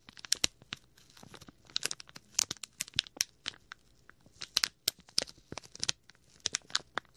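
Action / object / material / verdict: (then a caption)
scrape / thin plastic bag / plastic / none. A small, clear plastic packet with a printed label is squeezed and crinkled by fingertips right next to the microphone's ear. The result is a rapid, irregular series of sharp, bright crinkles and crackles, almost entirely high in pitch with almost no low end, each snap dying away at once over a quiet background.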